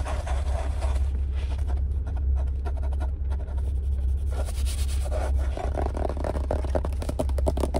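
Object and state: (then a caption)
Paper sketchbook with cardboard cover. A yellow spiral-bound Strathmore sketchbook, about A4 size, with a stiff cardboard cover, is held close and tapped and scratched on the cover with fingertips and nails inside a car. Quick, dry scratching and tapping runs continuously over a steady low rumble, with bursts of brighter scraping texture throughout.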